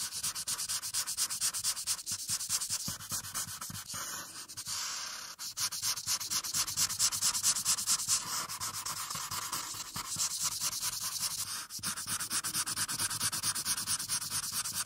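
A felt-tip alcohol marker is rubbed back and forth across a thin printed paper coloring page lying flat on a dark surface. The result is a continuous, bright rubbing and scratching sound made of rapid strokes, with brief pauses and shifts in intensity.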